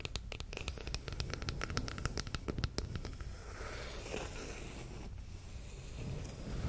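A long, flat, solid bamboo wooden spoon or spatula is held horizontally above a fluffy microphone while long red acrylic nails scratch and tap its handle. Crisp, rapid taps come first over a low rumble, then give way to softer, continuous scratching.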